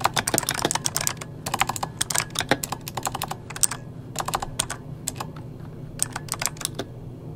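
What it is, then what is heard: Plastic mechanical keyboard being typed on. Fingertips of both hands type on an RGB-backlit mechanical keyboard with plastic keycaps. Quick flurries of sharp, bright clacks come in bursts separated by brief pauses. Each keystroke dies away almost instantly over a faint, steady low hum.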